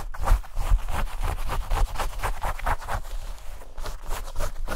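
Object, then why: Denim shorts. Light-blue denim shorts are held up by hand while long nails scratch and rub quickly over the fabric and seams. The result is a rapid run of rough, papery scratching strokes layered over a dull low thumping from the handling.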